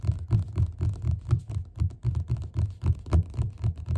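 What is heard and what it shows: Fingertips tap quickly on the cover of a solid yellow paperback book lying flat, making a steady run of soft, dull, low thuds at roughly four per second. Each tap is short and dies away almost instantly, with a faint brushing scratch between hits.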